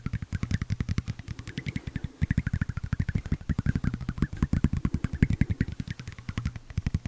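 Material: Tempered glass.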